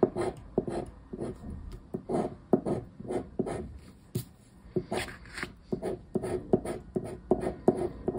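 A hand scratches the silver latex panel of a flat, thin coated-paper Mega Pé-De-Meia lottery scratch card lying on a wooden table, using a round black plastic scraper disc. Quick, dry rasping strokes repeat in an uneven rhythm, each a short scratchy burst with a bright edge and almost no ring.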